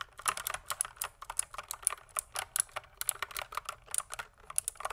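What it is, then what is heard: Mechanical keyboard typing. Fingertips type continuously on a pink plastic mechanical keyboard, producing about 25 quick, sharp keystrokes at an uneven rhythm. Each click is crisp and bright with almost no low end, and it stops dead with no ring between strokes.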